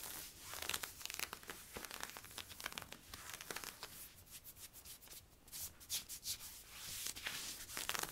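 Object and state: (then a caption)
Stretch polyester-spandex leggings being scratched. Fingernails scratch worn camo polyester-spandex stretch leggings along the side stripes and hip. The result is quiet, dry, bright rasping and crinkly scraping in rapid, uneven strokes that swell and fade, with almost no low end.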